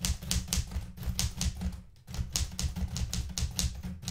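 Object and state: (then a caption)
Metal manual typewriter being typed on. A blue Smith-Corona metal portable manual typewriter with plastic keys and paper in the carriage is typed on rapidly by fingertips with red nails. Quick, bright mechanical key clacks ride over a heavy low thump, with a brief pause near the middle.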